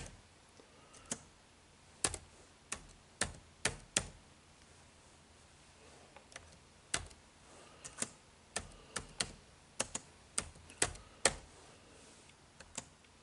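Fingertips tap the dark plastic keys of a silver HP laptop lying flat, typing on its hollow plastic body. About 21 short, sharp, bright clicks come at an uneven pace, each dying away almost at once over a quiet background.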